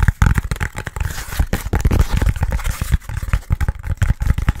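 A short, yellow, hollow section of foam pool noodle is tapped and scratched quickly with fingertips and nails. The result is a rapid, uneven run of dull, low, thumpy taps that die away almost instantly, with faint crinkly scratching between them.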